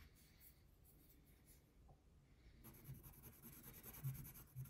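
A brown wax crayon is rubbed in small strokes across the basket area of a thin printed paper coloring page lying flat on a table. After about two and a half seconds of quiet low hum, a soft, dull scratching begins and continues in irregular strokes with a faint bright hiss.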